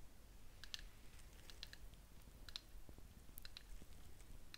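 A small, cup-shaped ceramic candle jar, filled with wax and burning, is held in the hands and tapped on its side with fingernails. The result is a scattered series of light, bright clicks that die away almost instantly over a steady, low background rumble.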